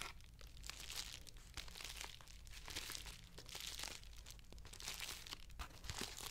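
A closed medium white plastic padded poly mailer envelope with its contents inside is held up in both hands and squeezed and crinkled with fingertips and painted nails. Dense, continuous crinkling and crunching fills the clip with bright, papery texture, swelling in waves over a steady low hum. The overall level stays quiet.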